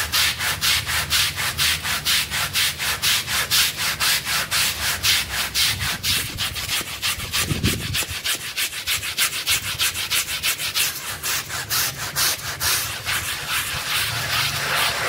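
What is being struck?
Wet synthetic pile rug.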